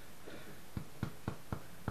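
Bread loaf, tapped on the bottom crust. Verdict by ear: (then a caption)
Baked through. Five dull, low thuds as the bottom of a freshly baked homemade bread loaf, just out of the oven, is tapped. The taps sound hollow, showing the bread is baked through.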